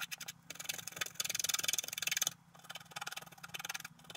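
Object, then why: Scratch-art card scratched with a wooden stylus. A wooden stylus scratches fine lines through the black coating of a scratch-art card lying on a table while a hand holds the sheet still. Rapid, dry, bright scratching strokes come in quick bursts, loudest and densest in the middle, with short pauses in between.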